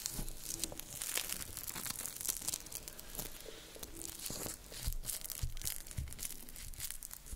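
A loose sheet of thin, clear plastic cling film is crumpled and rubbed between fingertips close up. It makes a continuous, irregular run of bright, crinkly crackles and tearing-like rustles with brief soft low thumps, at a fairly steady, quiet level throughout.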